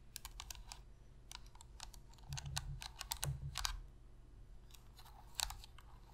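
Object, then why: Plastic game controller. Long pink-red fingernails tap rapidly on the hollow plastic shell and buttons of a black PlayStation controller. The result is a quick series of sharp, bright clicks, louder in the middle and once more near the end, over a steady low hum.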